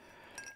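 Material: Ceramic.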